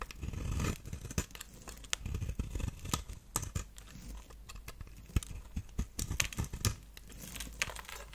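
A knife blade shaves thin curls from the edge and face of a solid, palm-sized, round pink bar of dry soap held in the hand, with the shavings piling up. Quick, crisp scraping and crackling cuts come in an irregular series of short, sharp bursts over a low, steady rumble.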